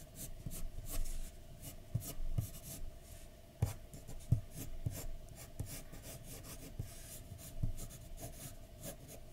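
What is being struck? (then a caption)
Graphite pencil on a paper drawing sheet. A graphite pencil scratches and shades a flat white paper drawing sheet resting on a dark desk. Soft, dry strokes rasp and rub across the paper, with occasional light taps as the pencil meets the sheet, over a faint steady hum. The sound stays quiet and close throughout.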